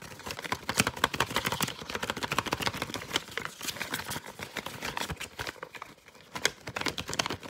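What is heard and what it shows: A light, hollow folded paper fortune teller (cootie catcher) with colored panels is tapped, flicked and scratched with fingertips in a fast, aggressive flurry. Dense, dry, bright clicks and papery scratches come in rapid bursts with almost no ring. A brief quieter patch falls near the end before the tapping picks up again.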